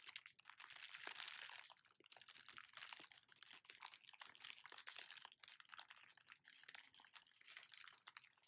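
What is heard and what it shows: An empty, large clear plastic packaging bag with black and white print is crumpled and crinkled in both hands. The result is a continuous stream of quiet, bright, crackling rustles made of many short, sharp snaps, with almost no low end.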